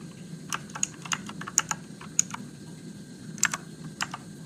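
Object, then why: Mechanical keyboard with plastic keycaps. Fingertips type slowly on a Motospeed RGB-backlit mechanical keyboard with plastic keycaps and blue switches. Ten sharp, bright clicks are heard, each dying away almost instantly, over a faint low background hum.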